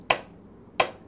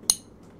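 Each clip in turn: First: wooden piano body knock. Second: glass perfume bottle.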